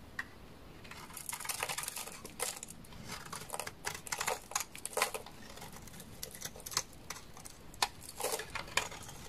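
A solid, dark amber, translucent bar of laundry soap is held in the hand and shaved with a utility knife blade. The result is a series of quiet, crisp scraping and cracking bursts, bright and high with little low end. They come in irregular clusters with short, sharp clicks between them.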